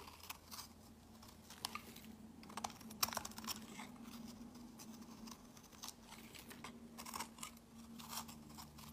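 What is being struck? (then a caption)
Bar of soap. A utility blade scrapes and shaves flakes off the edge of a solid peach soap bar held in the hand, dropping them onto a pile of shavings. Quiet, bright, crisp scraping and crunching strokes repeat over a faint steady low hum.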